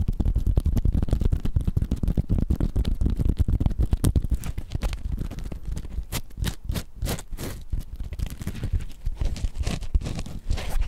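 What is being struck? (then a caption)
Foam sponge. A soft, porous, hand-sized yellow foam sponge is held in both hands right up to the microphone and squeezed and scratched with the fingertips. The result is a close, continuous stream of dense crackling and scratchy rustles, heavy in the low end. The strokes grow slightly more spaced and airy toward the end.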